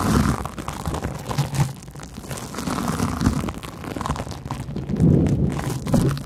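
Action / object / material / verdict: scrape / large porous cellulose sponge / cellulose / none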